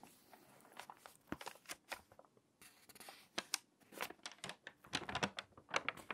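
Fingers with long nails rub the page of an open, water-damaged glossy paper magazine showing a fashion spread, then begin turning the page edge. Dry, crinkly crackles and brief scratchy rustles come in uneven bursts, bright and thin with almost no low end. They grow denser and louder toward the end as the stiff page starts to turn.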